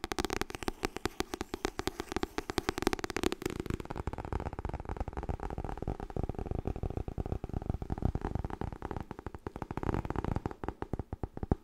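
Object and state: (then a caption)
Softcover book. Rapid, continuous fingertip tapping on the softcover of the paper book "Getting Things Done." The taps are dull, papery thuds with a low-mid body and very short decay, running at a steady fast pace throughout. Their tone shifts slightly partway through as the tapping moves.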